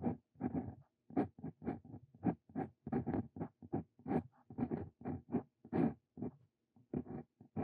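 A Brause Cito Fein steel dip pen nib writes Korean text onto a lined paper sheet, producing about two dozen short, soft scratching strokes separated by brief pauses. The scratches are low-mid and papery, with little high-end brightness and almost no ring after each stroke.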